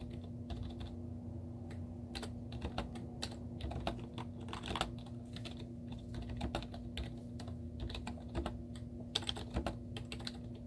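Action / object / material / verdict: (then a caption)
tap / plastic laptop keyboard keys / plastic / none. Long teal-painted nails and fingertips type rapid taps on a white plastic laptop keyboard with cartoon stickers on its hollow keys. The result is a quick run of short, dry, clicky taps over a steady low hum.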